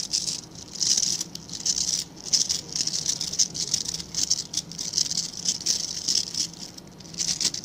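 Fingertips and nails flick and scratch the dark synthetic bristles of a hand-sized scrub brush with a plastic back. The result is a dense, bright, crackly patter in quick, uneven bursts with almost no low end. Each burst cuts off sharply before the next one starts.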